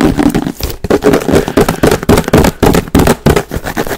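A large clear plastic Fabuloso spray bottle with a pink trigger, hollow and partly filled with liquid, is tapped and knocked rapidly with fingertips and nails close to the microphone. The result is a fast, irregular stream of short, dry, hollow plastic knocks with a mid-range tone that die away almost instantly.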